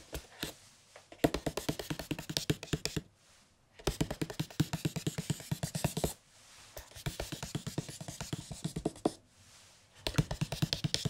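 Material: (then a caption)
Cardboard. Fingertips and a palm tap and rub on the printed cardboard cover of a large hardcover picture book, Le Petit Prince, with a red spine. Quick, dull, low taps come in dense bursts of rapid drumming, broken by short pauses filled with soft rubbing.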